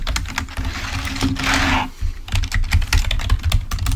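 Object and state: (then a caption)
Plastic membrane keyboard. A full-size, wired, black plastic Microsoft membrane keyboard lying on a white table is typed on with fingertips, producing rapid, dull key clicks with most of their weight in the low end. A steady low hum runs under the first half, and a brief soft hiss swells in the middle before the quick, uneven clicking continues to the end.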